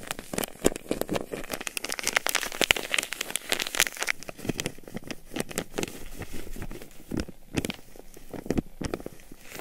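An unwrapped, palm-sized, soft white nonwoven-fabric hand warmer pouch filled with granular powder is rubbed, squeezed and shaken between the fingers. It makes dense, gritty crackling and crinkling rustles with many quick, dry clicks. The sound is bright, busier and louder in the first half, and eases into sparser bursts toward the end.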